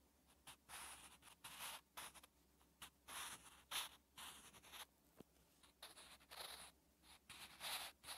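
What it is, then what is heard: Pencil writing on lined notebook paper. A sharpened wooden pencil held at the fingertips scratches across lined notebook paper while writing. The clip is a string of bright, hissy scratching strokes with short quiet gaps between them. A steady low hum sits underneath.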